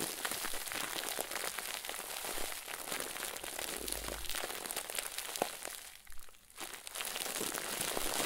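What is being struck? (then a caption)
Plastic bag stuffed with crinkly filling. A head-sized round white plastic bag, tied at the top and stuffed full of crinkly filling, is squeezed and crumpled by the fingertips of one hand over a wooden table. It makes a steady, dense, bright crinkling with sharp little crackles throughout, easing briefly to a softer rustle near the six-second mark before picking back up.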